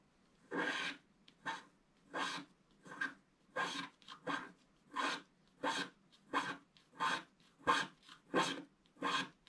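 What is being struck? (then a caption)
Wax-coated scratch-art card scraped with a wooden stick. A wooden stick scratches the black wax coating near the right edge of a flat, thin, solid scratch-art picture card lying on a table. Separate, dry, raspy strokes repeat at a fairly regular pace, each a short burst of bright, hissy scraping with a faint tone around 1 kHz. Quiet gaps fall between the strokes.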